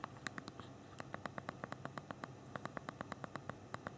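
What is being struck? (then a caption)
Small phone with hard plastic keys. Both thumbs tap the hard plastic QWERTY keys of a small BlackBerry Q10 phone's physical keyboard continuously, producing 27 quick, dry clicks with almost no ring, centered near 1.9 kHz with bright edges. The taps come in an uneven rapid rhythm over a low, steady background hum.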